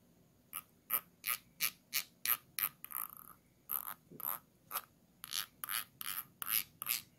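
A thin tool is scraped over the ridged rim on the base of a small, round, clear, empty glass jar held upside down, making a dry, ratchet-like clicking. Short, bright, rasping strokes repeat at a quick, uneven pace, with a tonal edge near 1.2 kHz and very little low end. One stroke near the middle drags on longer, and the sound stops dead between strokes.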